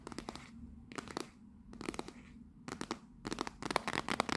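Long nails tap and scratch the front face of a small, closed, rectangular teal printed Fortnum & Mason 'Royal Blend' cardboard tea box held upright. Quick, irregular clusters of dry, crisp clicks and scratchy rasps come in bursts separated by brief pauses, growing denser toward the end. A low background hum sits underneath.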